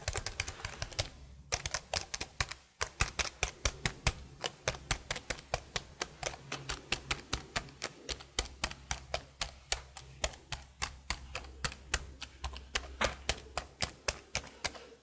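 Long blue nails tap the keys of a detached black plastic laptop keyboard held horizontally close to the microphone. About 66 sharp, bright plastic clicks come in a quick, uneven stream with almost no ring after each one. A faint low hum sits steadily underneath.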